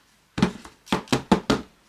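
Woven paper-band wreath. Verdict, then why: Solid. A finished wreath woven from kamihimo craft paper band is tapped six times, giving short, dull knocks with a low body and almost no ring. The wreath sounds solid, so despite being made of paper it will not blow away in the wind if hung outside.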